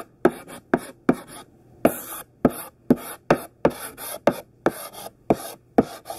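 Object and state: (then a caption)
Chalk writing on a chalkboard. A thick stick of pink sidewalk chalk, held in the hand, writes words on a large flat black chalkboard. It makes twelve sharp taps as the chalk meets the board, each followed by a short, bright, scratchy stroke.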